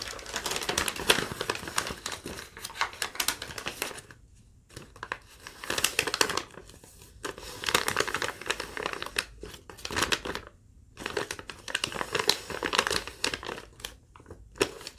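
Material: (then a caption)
Paper. A crumpled, thin yellow legal-pad sheet is held up while long nails tap and crinkle it. Bright, crackling rustles come in dense bursts that rise and fall in waves, with brief near-silent pauses around the 4- and 10-second marks. Low frequencies are almost absent.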